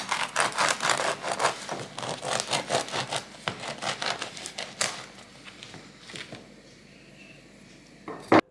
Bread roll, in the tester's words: bello caldo e scrocchiarello avete sentito parla da solo